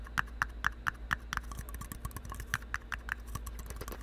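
A single empty red plastic party cup, white inside, hollow and thin-walled, is held close to the mic and tapped and scratched with fingertips and nails. Quick, light, hollow clicks ring briefly around 1.7 kHz in an uneven rhythm, with softer scratchy taps between them over a steady low hum.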